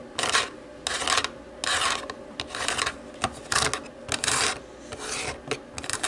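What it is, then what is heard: Plastic remote control. Long nails tap and scrape across the rubber buttons of a small, hollow black plastic DVD remote control. Bursts of bright, dry rasping and clicking come in an irregular rhythm, with quick sharp taps between longer scratchy strokes.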